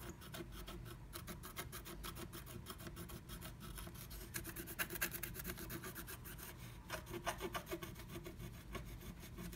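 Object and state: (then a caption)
Scratch art paper being scratched. A wooden stylus scratches back and forth across flat black scratch art paper inside a moon-shaped stencil cut-out, revealing red colour underneath. The result is a steady, dry scratching and rasping with bright, rhythmic strokes, a low rumble underneath, and a few louder, sharper scrapes near the middle and toward the end.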